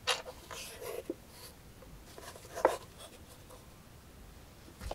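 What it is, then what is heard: Metal jewelry box tapped with nails. Long nails tap and scratch the flat lid and embossed sides of a hollow, closed, rectangular brass-colored metal jewelry box with a Greek key border and a front clasp. Four short, bright clicks with a brief metallic ring near 520 Hz stand out, with faint scratching between them.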